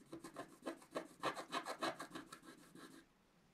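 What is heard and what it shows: A wooden stylus tip scratches a flat, black-coated paper scratch-art card resting on a table, moving in continuous strokes. About 12 quick, dry rasping strokes come in a steady back-and-forth rhythm, bright and papery with little low end, each swelling and fading. They stop after about three seconds, leaving near silence.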